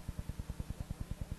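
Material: Nothing is struck.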